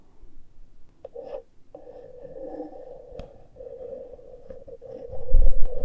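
Fingertips and long nails scratch and rub the exposed X/Y metal-grille microphone capsules of a small handheld Tascam recorder, with no foam cover fitted. A steady, close scratchy rasp holds a mid-range tone, broken by a few sharp clicks. Near the end it swells into louder, deep rubbing thumps.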